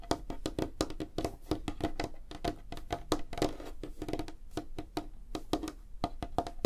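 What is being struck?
Light wooden tabletop.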